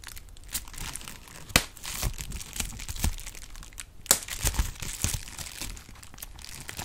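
A clear plastic bubble wrap sheet is crinkled and its bubbles popped with fingertips, giving a steady bright crackle and rustle. Sharp snapping pops rise out of it here and there, and the sound ends with the soft crinkling still going.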